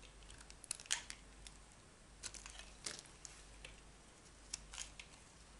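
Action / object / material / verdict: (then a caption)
scrape / bar of soap cut with a metal knife / soap / none. A metal utility knife carves thick slices off a solid oval bar of dry yellow soap held in the palm. Quiet, bright, crisp scraping and crackling cuts come in short bursts over a soft background hiss.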